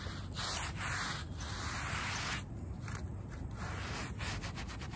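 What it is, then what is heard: Shaggy fabric doormat being scrubbed. A small wet, muddy shag-pile fabric doormat is scrubbed with a small wooden-backed bristle brush, producing a continuous rough, rubbing scrape heavy in low rumble. The strokes blend into a steady swishing texture with brief changes in pressure, and a faint steady high whine sits in the background throughout.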